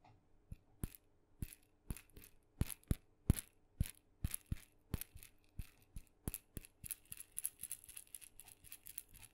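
A small painted wooden mini maraca, red with blue dots and hollow with a rattling filling, is held by its wooden handle and shaken while fingertips tap on it. The result is a long, quiet series of short, crisp rattles and taps, each with a bright, high crackle and a soft, dull low thump that dies away almost instantly.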